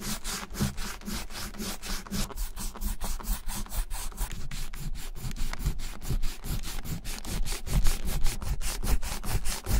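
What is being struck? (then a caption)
Leather wallet rubbed with a cleaning eraser block. A closed, brown, embossed vintage Gucci leather bifold wallet lies on a white surface while a white leather-cleaning eraser block, held in the fingers, is rubbed back and forth across it. Quick, steady, dry scratchy strokes come at about two and a half per second, each a brief broadband swish over a low rumble. Eraser crumbs build up on the wallet as the rubbing continues.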